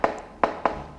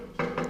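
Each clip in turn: First: rusted-through steel fuel tank. Second: solid steel beside the fuel tank.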